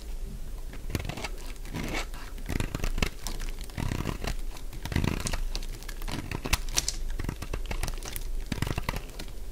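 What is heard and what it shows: A solid, dry purple lavender soap bar held in the hand is cut into and shaved with a metal utility blade, shedding crunchy flakes. Dense, dry crunching and scraping crackles continue throughout, with short bright snaps over a steady low hum.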